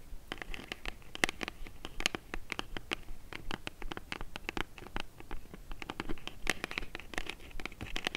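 Long nails scratch the surface and edges of a small, hollow, brown kraft cardboard box held and tilted in the hands. The result is a quick, irregular run of short, dry, bright scratches with almost no ring, over a faint low rumble.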